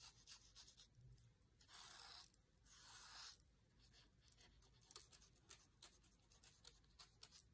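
A thin dried reed stem is rubbed and scratched across an open paper cookbook page with text and a food photo, lying flat. Quiet, bright, papery scratching is heard, with two longer sustained rubbing strokes early on, followed by short, irregular scratchy strokes.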